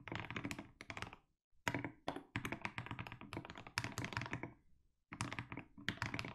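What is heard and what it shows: A 60% mechanical keyboard with SA plastic keycaps and a white case is typed on steadily with the fingertips of both hands. The keys give a run of deep, short thocky clacks with bright edges, broken by two brief pauses.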